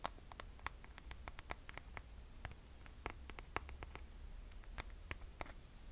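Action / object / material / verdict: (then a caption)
tap / cork and glitter strap sandal / cork / none. Long nails tap and scratch the footbed and straps of a rose-gold cork and glitter strap sandal, which is then turned to show its underside. Quiet, short, bright clicks and dry scratches come in an irregular rapid patter over a steady low hum.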